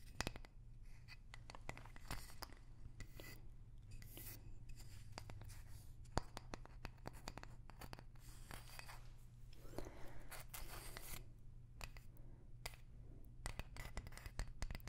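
Long nails tap and scratch a light, palm-sized wooden block with a barcode sticker, held close to the mic. Quick, dry clicks and scratchy strokes sit over a steady low hum, each tap dying away almost at once.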